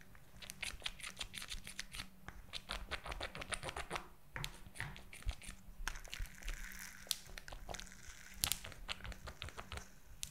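Long nails tap and scratch a purple glitter silicone gel squishy toy filled with pink beads, held above the mic. The result is a dense, fast run of crisp, bright clicks and crinkly scratches over a steady low hum.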